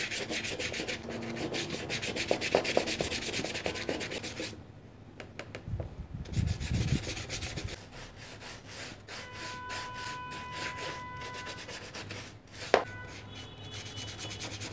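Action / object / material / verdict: scrape / leather shoe with foam applicator / leather / none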